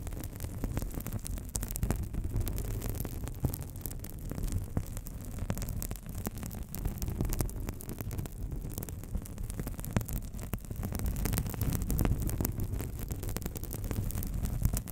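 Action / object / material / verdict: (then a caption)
scrape / thin paper sheet / paper / none. A thin, flat, hand-sized sheet of white paper held up close is rubbed and crinkled with long acrylic nails and fingertips. The result is a steady, low, muffled rustle lasting the whole clip, with frequent faint crackling ticks scattered through it.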